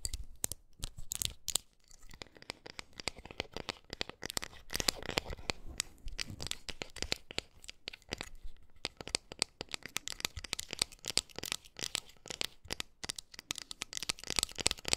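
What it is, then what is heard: Metal bottle opener scratched and tapped with nails. Long decorated acrylic nails scratch and tap quickly across the printed face and edges of a small, flat, round bottle opener made of thin, solid metal, with a printed Peking-opera mask design and a cut-out opener slot, held in both hands over pink fur. The result is a dense, continuous stream of rapid, bright clicks and scratchy rasps with very short, dry decay.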